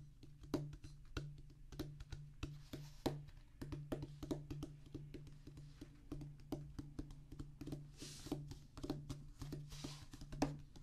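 Fingertips of both hands drum on a flat oval rubber practice pad, a solid black rubber top on a tan cork-like base. Quick, dull, irregular taps with short decay sound over a steady low hum.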